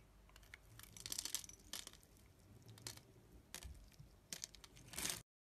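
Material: Soap.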